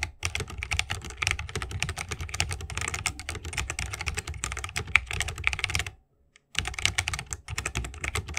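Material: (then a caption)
Plastic, wood. Fingertips of both hands type continuously on a 60% mechanical keyboard with plastic keycaps and tactile Holy Panda switches, set in a bamboo wooden case. Rapid, bright, clacky keystrokes with a soft low thump underneath stop briefly for about half a second near the six-second mark, then resume at the same pace.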